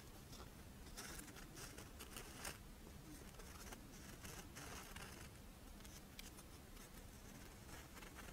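A Doraemon-shaped crisp rice wafer monaka with chocolate filling is held in the hands while long nails scratch along the wafer edge and then over its embossed face. The result is a steady, dense crackling scrape with bright, brittle bursts over a constant low rumble.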